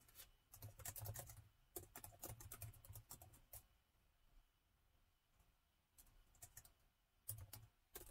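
Two hands type with their fingertips on the chiclet-style plastic keys of a gold metal laptop, producing quick bursts of short, bright key clicks over a soft low thump. The typing comes in fast clusters, pauses into quiet near the middle of the clip, then resumes in shorter runs.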